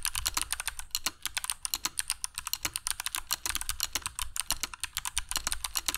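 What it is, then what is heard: Mechanical keyboard with PBT plastic keycaps. Fingertips of both hands type continuously on a compact black mechanical keyboard with dark PBT plastic keycaps and Kailh Box Jade switches, resting on a cork desk mat. About forty crisp, bright clicky keystrokes come in a rapid, uneven stream, each one short and dry with almost no ring.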